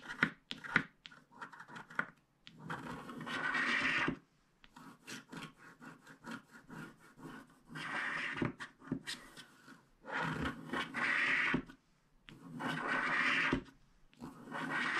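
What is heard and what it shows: A wooden stylus scratches the black coating off a flat black-coated paper scratch card, held in one hand, along a teal stripe. Quick, dry scratching strokes alternate with longer, steady scraping passes that have a bright, papery rasp, with brief pauses between them.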